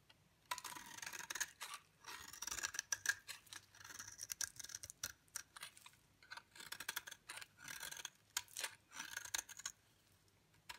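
A utility knife blade scrapes shavings off the face of a solid, dry yellow bar soap held in the palm. The result is a run of quiet, crisp, bright scraping strokes in short bursts with brief pauses between them, and almost no low end.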